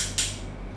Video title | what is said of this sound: PADLOCK LONG STEEL - Distributor ONEBIZ Long Steel Shackle Safety Padlock OB 14-BDG21DKD1K | Jadi kalau misalkan kita tepuk akan ada suaranya